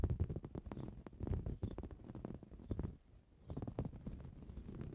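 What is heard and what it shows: Short blue-painted fingernails scratch across a soft, filled green cushion of coarse-weave fabric, and later one hand scratches near its centre. The result is a dense run of quick, muffled, low-pitched scratching strokes that dip into near-silence for a moment around the middle before resuming.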